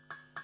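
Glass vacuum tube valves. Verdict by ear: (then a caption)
Good. Two light taps on a set of four matched glass power valves (vacuum tubes) running in a valve tester, checking for internal rattle. Each tap gives a short, bright ringing tick around 1.6 kHz that fades within about a tenth of a second. Only slight rattle is heard, and the valves are judged pretty good.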